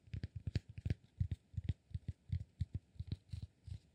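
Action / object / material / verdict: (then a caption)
tap / cork block / cork / none. Fingertips and nails tap and scratch a solid cork block in a quick, uneven run of about twenty soft, dull taps. Each tap is a short, low thud with a faint bright scratchy click on top that dies away almost at once.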